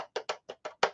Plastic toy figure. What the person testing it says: You can hear it's hollow and fragile.